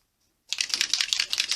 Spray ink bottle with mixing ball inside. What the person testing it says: starts rattling you shake it properly